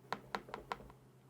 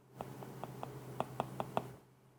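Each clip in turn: First: stylus tapping on glossy tablet glass, sharp clack. Second: stylus tapping a matte-coated tablet screen, full soft tap.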